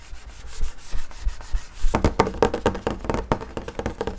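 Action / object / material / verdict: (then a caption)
scrape / wood-grain school desk top / wood laminate / none. Fingertips scratch and rub the flat top of a wood-grain school desk, a large solid panel. A soft, low rubbing for the first couple of seconds gives way to a rapid run of dry, crisp scratches and taps that die away almost instantly.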